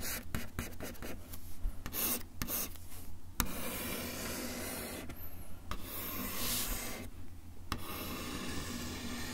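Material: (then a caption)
Wood. A bamboo ear pick is drawn in scratching strokes along a solid, flat brown wood-finish desk top. The strokes make dry, raspy scraping bursts with bright, hissy edges over a steady low hum. Each stroke stops short with almost no ring.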